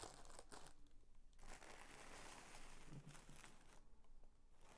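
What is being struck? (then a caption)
Tissue paper sheet. A folded sheet of mint green tissue paper is pressed and smoothed flat with both palms and fingers. It gives soft, broadband crinkling and rustling in overlapping bursts, with a dense stretch in the middle and brief quieter gaps between. The sound stays quiet throughout.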